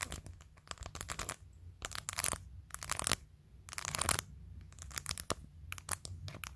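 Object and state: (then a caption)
Acrylic nails tapping a plastic phone case. Long nails reach from behind a phone to tap the top edge of a clear glitter plastic phone case covered in rows of acrylic press-on nails. The result is quick, bright, crisp clicking that comes in dense clustered bursts separated by short quiet gaps, with a faint low rumble underneath.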